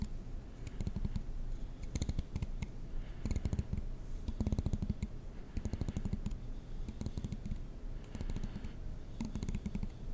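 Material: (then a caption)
Plastic. A black plastic comb has its long teeth scratched and flicked with a fingernail, giving bursts of rapid, dry clicks and ticks. The clicks have a bright edge and a low thud beneath, and they come in clusters of fast runs over a soft steady hiss.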